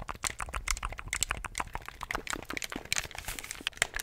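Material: Plastic.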